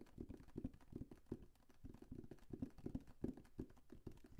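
A large, flat, printed cardboard Lego set box, hollow and held overhead, is tapped rapidly with the fingertips. The result is a quick, irregular patter of soft, dull, hollow thumps that sit low to mid in pitch and die away almost instantly.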